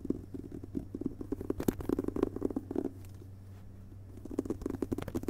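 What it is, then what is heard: Hardcover book with glossy dust jacket. Fingertips and fingerpads of both hands tap quickly on the front cover of a closed hardcover book with a glossy paper dust jacket, lying on a carpet. The taps are soft, muffled and low-pitched, coming in dense rapid bursts over a faint steady low hum. They pause for about a second in the middle, then resume.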